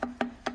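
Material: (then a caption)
Metal. The loose metal turbocharger shaft on a Hyundai Tucson engine, moved by hand, knocks in three sharp clacks with a short ring near 240 Hz. It is a fault, blamed on lack of lubrication and maintenance, and the turbo must be replaced.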